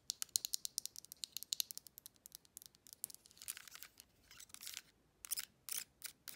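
A silver TV remote control with a metallic plastic finish and a round navigation pad, small and hollow, is held in the hand while long acrylic nails tap and scratch its surface and buttons. A rapid run of sharp, bright clicks gives way to longer scraping bursts and a few final taps, all high and dry with almost no ring or low end.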